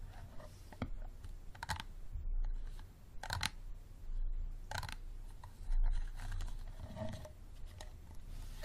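Fingernails tap and scratch the sides of an empty, hollow, clear unlabeled plastic bottle with a green cap. Soft scratching with occasional sharp clicking taps plays over a low, steady rumble.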